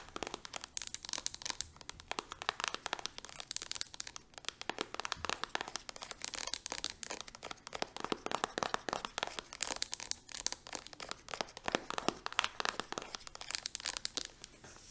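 Long nails tap rapidly on a small green-and-blue soft plastic hand cream tube resting on a palm. The result is a dense, fast run of crisp, bright clicks and crinkly plastic crackles, with almost no low end.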